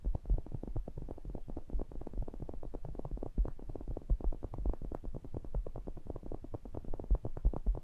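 Fingertips tap and rub the mesh grilles of a pair of small cylindrical metal pencil condenser microphones. A rapid, steady stream of short, dull, boomy thumps with brief scratchy rubbing sits almost entirely in the low end, around 60 Hz, with no high sheen. Each tap dies away almost at once.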